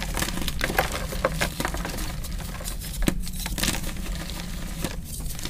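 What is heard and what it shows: A hand-sized, pink-dyed block of powdery gym chalk (magnesium carbonate), solid and crumbly, is crushed and rubbed between the fingertips and palms of two hands with painted nails. The result is a steady, low-heavy crunching and grinding, dotted with many small, sharp crackles and brighter crumbly bursts. The block breaks down into crumbs and powder.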